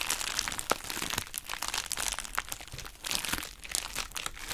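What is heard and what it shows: A hollow pink heart-shaped plastic bubble wrap pouch is squeezed and crumpled with both hands and long nails. It makes dense, bright crinkling and crackling that runs continuously, with sharp crunchy snaps scattered throughout.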